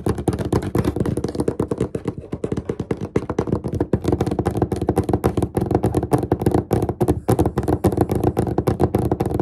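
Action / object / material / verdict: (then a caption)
tap / wooden desk surface / wood / none. The fingertips and short nails of both hands tap rapidly across a large, solid, flat dark-stained wooden desk surface. The result is a dense, steady stream of short, dull knocks centered low around 300 Hz, each dying away almost instantly, with brief pauses near two and seven seconds.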